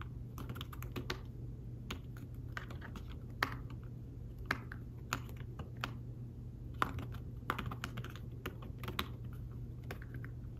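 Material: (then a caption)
Fabric. Fingertips type and tap on a thin folio tablet keyboard with fabric-covered keys, making soft, dry, irregular clicks that stop almost at once. A few keystrokes land harder than the rest, over a steady low hum.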